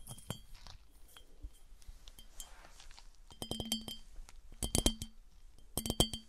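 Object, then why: Clear glass piggy bank. Long nails tap on the top and sides of an empty, smooth, clear, hollow glass piggy bank, which is then held and tilted. Light, bright glassy clinks with a ringing tone near 3.1 kHz start out soft and scattered, then come in louder, quick clusters. Each tap dies away almost at once.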